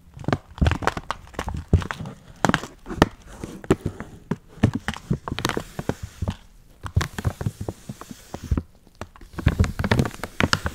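A full, printed plastic package of dry Chinese noodles, held upright in gloved hands, is squeezed, crinkled and scratched with the fingertips. Dense bursts of sharp, dry crinkling and crackling come in quick clusters with brief quieter gaps, each snap dying away almost instantly.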